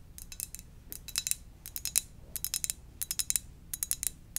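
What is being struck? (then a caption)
Ceramic mug. Fingers gently tap on a ceramic donut-shaped mug in quick, irregular clusters. Each tap is a short, bright, glassy click that dies away almost instantly, over a faint low hum.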